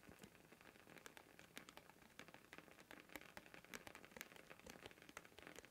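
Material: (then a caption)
Plastic. Fingertips tap and scratch the rim and surface of a thin, round blue plastic lid, about 10 cm across, removed from its canister and held up in both hands. A quiet, steady stream of rapid, bright plastic clicks and light scratches with almost no ring, and a faint crackling texture between them.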